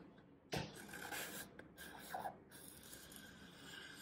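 A small knife slices vertical cuts through a solid green floral foam brick held flat by one hand. Each cut gives a dry, crunchy rasp with a bright, airy edge, starting with a sharp onset and then a few softer scraping strokes over a faint background hiss.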